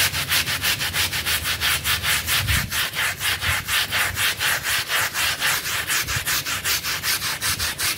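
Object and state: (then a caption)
Synthetic pile rug being scrubbed. A stiff green-bristled pink brush scrubs a small, dirty blue synthetic pile mat that is wet and covered in soap foam. Rapid, steady back-and-forth strokes make a bright, hissing, wet scratching sound that pulses evenly throughout, with a faint low rumble underneath.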